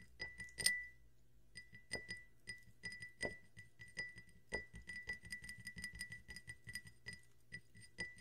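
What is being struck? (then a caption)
Glass tumbler. A drinking glass with carbonated water is tapped in a quick, irregular series of light clinks, each giving a short, bright ring near 2 kHz. One louder, sharper clink comes early, followed by a brief pause, then steady tapping to the end.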